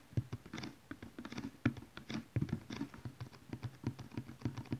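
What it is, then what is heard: Cardboard DVD box set. A large, flat cardboard DVD collection box, probably full of DVD cases and lying on cloth, is tapped with the long nails and fingertips of both hands. It gives a quiet, rapid, uneven patter of dull, hollow, low thumps mixed with brighter nail clicks, each dying away almost at once.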